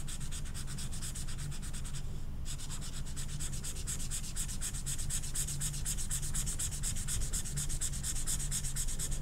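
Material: Flocked paper.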